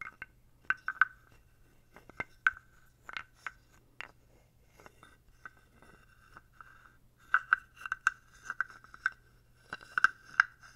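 A small dark carved wooden toad, held in the hand close up, is rubbed and scraped with fingertips and a wooden stick. Short, dry rasps and clicks with a hollow woody tone come in scattered bursts, and a faint low hum sits underneath.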